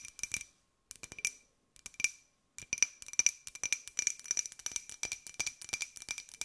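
Long nails tap a small, hollow, empty white ceramic jar with a pink and gold pineapple print, its interior visible. Quick, bright clicking taps come in short bursts with brief pauses, then settle into a steady, continuous run. Each tap carries a short, high ceramic ring with a clear tone near 2.5 kHz and almost no low end.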